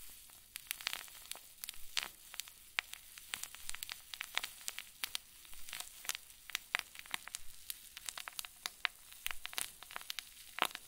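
A clear zip plastic bag full of white fluffy stuffing is squeezed with both thumbs. It makes a steady stream of dense, irregular crinkles: sharp, bright crackling snaps over a soft, constant hiss, with almost no low end.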